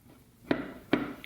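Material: Steel.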